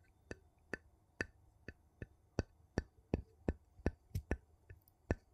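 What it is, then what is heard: Metal jar lid tapped. A gold metal lid on a small glass jar has its ridged rim tapped and scraped with a wooden scoop. Fourteen short, sharp clicks with a bright top ring out at uneven intervals over a faint low hum, each dying away almost instantly.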